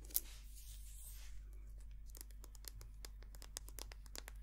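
Long painted nails tap and scratch a small white soft plastic squeeze tube of hand cream, hollow and filled with cream. A sharp click opens the clip, followed by a soft, bright scratching hiss for about a second. From roughly two seconds on comes a quick, irregular run of crisp, high ticking nail taps, all over a steady low hum.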